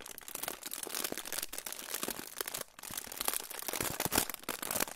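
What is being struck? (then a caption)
Aluminium foil pouch. A crinkled silver aluminium foil pouch is held in front of the microphone and crinkled and rubbed with fingertips. It makes dense, bright crackling and rustling that runs continuously with little low end. The crinkles rise and fall in bursts, with a brief quieter gap partway through.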